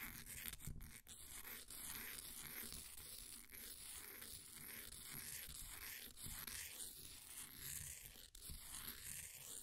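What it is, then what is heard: Pressed powder bath bomb being scraped. A flat wooden popsicle stick scratches and scrapes the surface of a solid, green, ball-sized bath bomb of compressed powder sitting in a blue plastic ring holder. The result is a steady, dry, gritty scraping texture with a bright, hissy high end and a low rumble underneath. The level stays fairly even, with a few brief dips between strokes.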